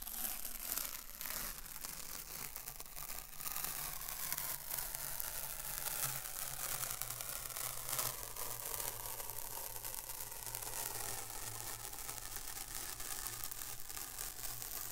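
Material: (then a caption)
Paper. A long strip of thin white paper masking tape is held close, and fingertips pinch, peel and crinkle its sticky folded end. The result is a steady, dense crackle of papery peeling and crinkling with bright hiss, over a low constant hum.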